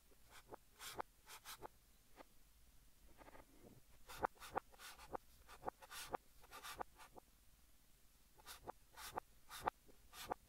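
A blue chalk stick, held in fingertips, writes Korean text across a large flat green chalkboard. Quiet, dry scratching strokes come in short bursts with bright edges, broken by a few quiet pauses.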